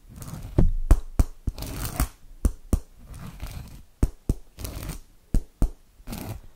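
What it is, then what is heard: Cork board. The tip of a small blue metal penlight, held in a hand with long dark nails, taps and scratches across a flat, solid cork board or cork mat. Sharp, dry taps land at an uneven pace between stretches of soft, scratchy rustling. Each tap dies almost instantly, with the sound weighted toward the low end.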